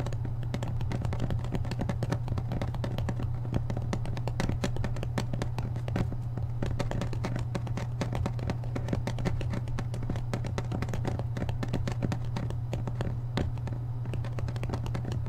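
A thick hardcover book is held upright while the thumb and fingertips rapidly tap the back of its paper dust jacket. The result is a dense, continuous stream of soft, dry, short-decaying taps over a steady low hum, with most of the energy in the low range and very little brightness.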